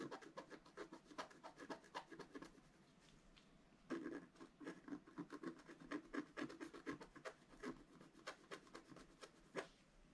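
A wooden stylus scratches the black coating of a flat, solid scratch art card, about A4 in size with coloured foil paper underneath, lying on a table. Quick, irregular dry scratching strokes sound bright and papery, with a brief quieter pause near the middle before the strokes resume more firmly.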